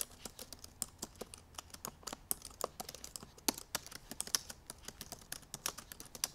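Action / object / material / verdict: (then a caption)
tap / laptop keyboard with plastic keys / plastic / none. Long purple nails tap the black plastic keys of a silver aluminum MacBook Pro laptop in fast typing. A rapid, uneven stream of short, bright clicks is heard, each dying away almost instantly, with very little low end. The overall level stays quiet.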